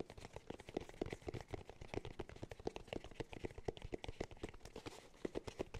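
Fingertips tap the top and rim of a round, hollow cork cylinder held in both hands. A quick, steady stream of soft, dull knocks with a hollow tone around 430 Hz, each dying out almost instantly, with little bright content.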